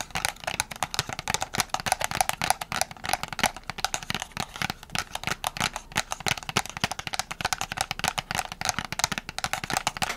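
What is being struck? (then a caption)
Small cardboard box with a plastic window. A small printed cardboard box with a plastic window, holding press-on nails, is tapped with long nails. Rapid, dense clicky taps carry a bright papery tone with a steady mid-range ring around 770 Hz and very little low end. The tapping continues quickly and unevenly throughout.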